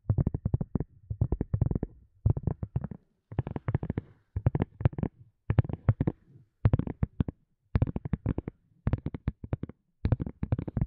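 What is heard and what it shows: Long fingernails tap and scratch around the rim and surface of a small, white, flexible, hollow silicone cup lid. The sound is dull and low-heavy, with quick, short taps grouped into about ten rapid bursts separated by brief pauses.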